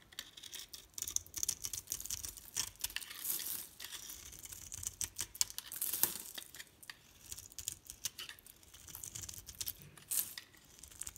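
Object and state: Bar soap.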